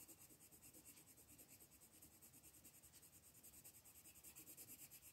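A blue colored pencil shades a small ghost on a flat paper coloring book page with short rubbing strokes. It makes a quiet, steady, rhythmic scratching with a bright, hissy texture, growing slightly louder toward the end.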